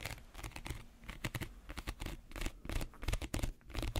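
Fingernails scratch the weave of a small, empty woven reed basket held close to the mic. The result is a run of irregular, dry, crinkly scratching bursts with bright crackle over a heavy low-end rumble.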